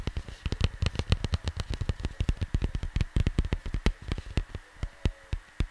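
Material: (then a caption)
Cardboard. Fingertips tap rapidly on a large, flat cardboard vinyl record sleeve as the hands move across the cover, producing about 38 short, dull, low thumps. Each tap dies away almost instantly, with a faint steady tone and light hiss underneath.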